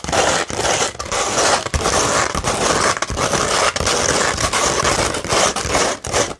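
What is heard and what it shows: The long nails of both hands scratch across a flat sheet of sandpaper, making a dense, gritty rasping with a bright, hissy edge. The scratching runs almost continuously in short strokes, broken by brief dips between passes.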